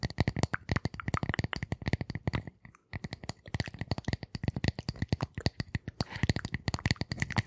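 Long nails rapidly tap and scratch across the surface of a flat, solid, light-colored round wooden disc about hand size, held close to the microphones. Dense, dry clicks with almost no ring, carrying a low woody thump under a bright scratchy edge, run continuously apart from a brief pause just before the three-second mark.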